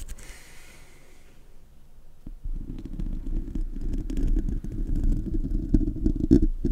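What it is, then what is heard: Metal microphone grille. Fingertips and nails of both hands scratch the hollow metal mesh grille of a silver Blue Yeti USB microphone with no foam cover. A faint, bright brushing hiss gives way after about two seconds to dense, low rumbling scratches that grow louder, with a few sharper scrapes near the end.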